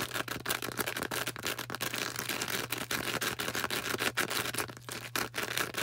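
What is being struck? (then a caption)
Foam sponge. Long orange acrylic nails squeeze, tap and scratch a hand-sized, star-shaped green porous foam sponge. The result is a dense, continuous stream of crisp, bright scratches and quick dry taps with a crackly texture, over a steady low hum.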